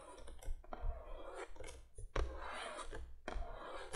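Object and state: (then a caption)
Cardboard box. Long nails scratch and rub across the printed surface of a cardboard box lying flat. Dry, papery scraping strokes come in short bursts, with a soft low thud under each stroke and brief quiet gaps between them.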